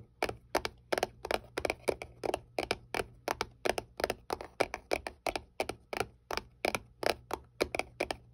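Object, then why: Small paperboard box. Long painted nails tap and scratch the flat side of a small, hollow white paperboard box held upright. The result is a steady stream of short, dry, crackly clicks with a bright edge that die away almost instantly, over a faint low hum.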